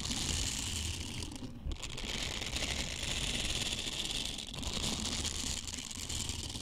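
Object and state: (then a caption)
Silicone scrubber. Small, flexible blue silicone bristle scrubbers are squeezed, bent and rubbed by fingertips close to the mic. The result is a dense, continuous rattling crackle with a bright, hissy top and a low rumbling texture underneath, briefly easing around the two-second mark.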